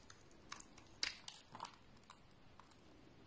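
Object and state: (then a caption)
Bar soap being scraped. A flat blade scrapes thin shavings from the surface of a solid brown oval bar of soap held in the hand. It makes a series of quiet, dry, bright scraping strokes with short crisp transients, and the loudest stroke falls around the one-second mark. Each scrape dies away almost at once, with little low-end weight.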